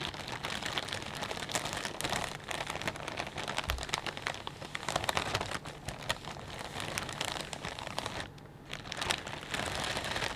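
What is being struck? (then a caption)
Plastic bag of potato chips. Fingertips squeeze and crumple a clear plastic bag full of potato chips, making a steady stream of dense, bright crinkling and crackling for about ten seconds. The crinkles are sharp and short with no ring, and there is a brief quieter moment near the 8.5-second mark before the crumpling picks up again.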